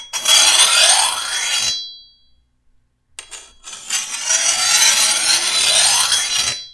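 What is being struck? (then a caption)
Steel machete blade and hand file. The other side of the edge of a long, thin, solid steel machete blade, held upright, is filed with a hand-held steel file. Two long, bright, rasping strokes are heard, separated by a short pause with a few light scrapes. A high metallic ring hangs briefly after the first stroke.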